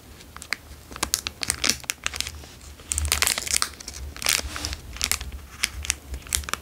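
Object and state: Plastic wrapper crinkled.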